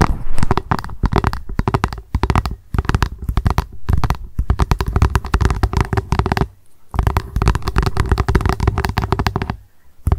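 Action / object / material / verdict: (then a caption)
tap / hollow plastic lunch box / plastic / none. Long acrylic nails rapidly tap and scratch on an upside-down translucent, hollow plastic lunch box. The result is a fast, continuous patter of dry clicks over a hollow, low thump, with brief pauses around the middle and near the end.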